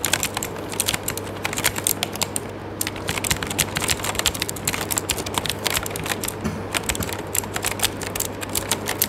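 Fingertips type rapidly on an RGB-backlit mechanical keyboard with plastic keycaps, producing a dense stream of sharp, bright key-press clicks and taps. Each click cuts off almost instantly over a steady low hum.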